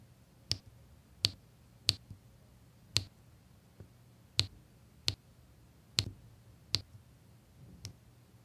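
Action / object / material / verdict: tap / resin drills pressed onto sticky canvas with a drill pen / resin / none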